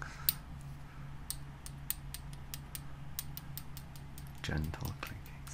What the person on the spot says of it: gentle clinking sound from side to side